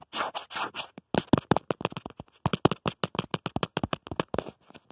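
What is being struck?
Plastic phone case.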